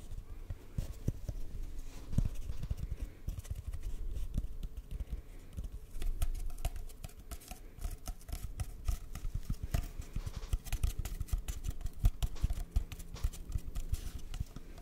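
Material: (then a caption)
Cardboard. A single long, hollow, empty brown cardboard paper towel tube is held upright and then at angles in front of the microphone while fingertips tap and scratch along its length. The result is a steady stream of soft, dull, low thumps and scratchy rustles that come in quick clusters, with almost all the energy sitting low and very little brightness.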